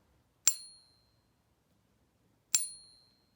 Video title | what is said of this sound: Coin Ping Test - Does it work? - Purity Limitation | this one kind of has a funky sound too but it's still silver